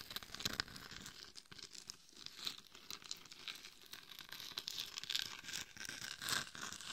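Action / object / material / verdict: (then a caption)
scrape / glitter-coated plastic mannequin head / plastic, glitter / none. Long nails scratch and tap the sides and top of a glitter-covered hollow mannequin head microphone. The result is a quiet, dense, bright crackling and scraping texture with little low end, broken by a few sharper taps.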